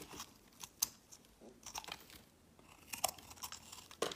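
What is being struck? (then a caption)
Soap bar. A metal blade shaves thick, crumbly flakes off the edge of a solid peach soap bar held in the hand, using repeated strokes. Each stroke makes a quiet, dry, crisp scraping and crumbling sound that is mostly bright, with little low end. A few sharper cracks stand out among the softer crinkling scrapes.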